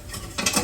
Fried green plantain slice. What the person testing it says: if you see she knocking it like that, that means she had tested it if it complete